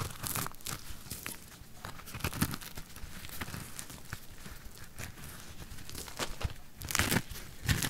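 A thin metal blade is drawn across a solid pink soap ball held in the fingers, shaving off curls. Irregular crunchy, crackling scrapes come in quick bursts with bright, dry edges over a low rumble, with denser, louder strokes near the end.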